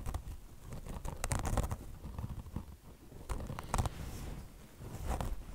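Long blue nails grip the sides of a beige car wash sponge, a mesh top over foam with a chenille fringe, and scratch across it. The result is a dense, rough scratching and crinkling that sits mostly in the low end, with brief bright bursts where the nails rake harder.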